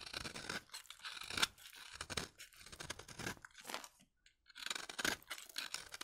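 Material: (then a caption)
Soap. A utility knife blade scrapes across a solid, pale, dry bar of soap, shaving fine curls off the surface. The result is a run of quick, dry, crunchy scraping strokes with a bright, papery rasp. A short pause falls near the four-second mark before the scraping resumes.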